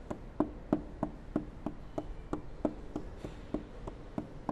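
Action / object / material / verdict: tap / polycarbonate car headlight lens / polycarbonate / none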